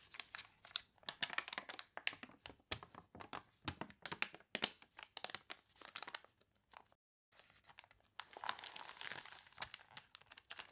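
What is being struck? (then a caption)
Paper catalog pages. An open paper catalog with water-wrinkled pages lies on a table while long nails scratch and fingers rub the crinkly paper, and a page is turned. Dense, bright crinkling and crunching comes in quick, sharp bursts, broken by a brief silence before a longer rustle near the end.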